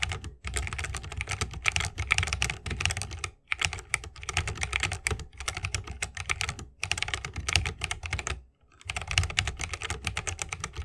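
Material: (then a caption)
Plastic, wood. Fingertips of both hands type continuously on a 60% mechanical keyboard with plastic keycaps and tactile Holy Panda switches, set in a bamboo wooden case. Rapid, bright clacking keystrokes carry a full low thock underneath. Short pauses break the typing around 0.4, 3.4, 6.8 and 8.6 seconds.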